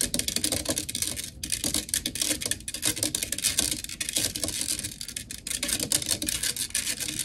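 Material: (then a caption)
Metal mesh. Long nails on both hands rapidly tap and scratch the black metal mesh grille of a blue desktop microphone. The result is a dense, continuous patter of bright, crisp clicks and scratchy rasps with very little low end. Each tap dies away almost instantly.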